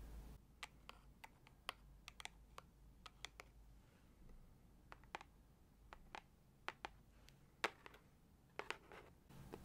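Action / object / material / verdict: tap / cardboard gift box / cardboard / none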